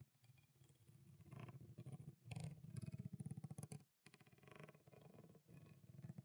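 A small, clear, thin plastic water bottle with water inside is gripped in a fist, squeezed and crinkled while fingernails tap on it. The result is a dense run of quick, soft, dull taps and crinkles, mostly low and muffled, with a brief pause near the middle before the tapping resumes.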